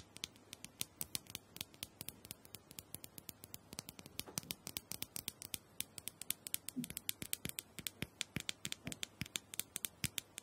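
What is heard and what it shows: Long acrylic nails tap and scratch the rounded top of a small, hollow, purple plastic dome-shaped massager held in one hand. About seventy quick, sharp, bright clicks follow in an uneven patter, each dying away almost instantly, with soft scratching in between.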